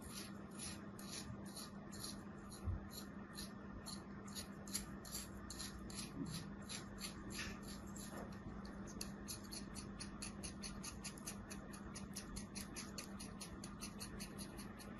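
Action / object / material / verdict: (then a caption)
scrape / kinetic sand slab / sand / none. A thin metal blade scores many fine cuts into a palm-sized solid slab of beige kinetic sand held over a tray. A rapid, steady series of soft, bright scratching slices plays over a faint constant low hum, with a few slightly louder cuts along the way.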